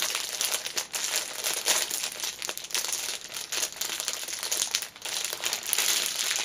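Fingertips and long nails press and rub the clear cellophane wrapper around a small black fabric pouch lying on a cushion. The result is a continuous, dense, bright crinkling with sharp little crackles and almost no low end. Its loudness swells and dips as the pressure changes.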